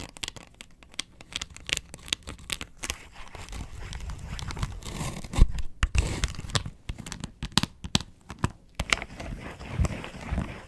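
Long nails scratch the ridges of a round, hollow yellow plastic box lid, first held in the hand and then lying on a table. A dense run of short, dry scratching and crinkling strokes with bright edges over a low, hollow body. The strokes grow louder and busier around the middle before settling into sparser bursts.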